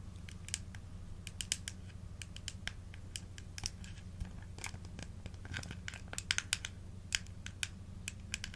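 A small clear plastic supplement bottle with a blue label and a blue plastic screw cap, full of dark red gummies or capsules, is held in the hands and tapped and scratched with long acrylic nails on the cap and sides. Quick, bright clicks and scratchy ticks come in irregular bursts over a steady low hum, each one dying away almost instantly.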